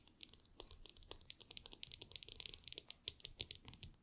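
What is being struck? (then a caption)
Aluminum headphone ear cups. Long nails tap and scratch the hollow aluminum ear cups of AirPods Max headphones lying on a table, while the many metal rings on the fingers may add extra clicks. About 25 quiet, sharp, bright clicks and scrapes come in a rapid, uneven run. Each dies almost instantly, with little low end.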